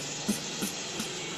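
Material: Nothing is struck.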